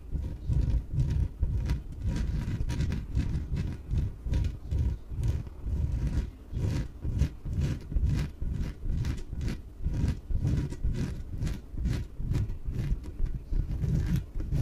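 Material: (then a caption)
PVC. Long nails tap and scratch the sides of a small yellow, hollow, air-filled inflatable PVC exercise ball. The sound is a steady, rapid series of dull, booming low thumps, with faint bright scratching streaks over the top. Each tap dies away almost instantly.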